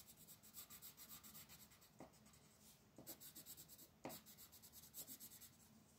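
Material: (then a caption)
Paper. A green wooden colored pencil scratches and rubs across a flat white paper mandala coloring page resting on a table, while the other hand steadies the sheet. Quick, rhythmic coloring strokes produce a soft, bright, papery scratching hiss, broken by a few sharper swipes as the strokes change direction. The overall sound stays quiet and close.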